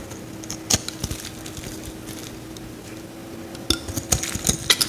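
A metal utility knife blade scrapes a grid of shavings off the face of a solid yellow Lifebuoy soap bar held in the hand. Short, bright scraping clicks come in scattered bursts over a steady low hum, sparse at first and then clustering more densely near the end.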